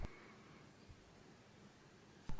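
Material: Nothing is struck.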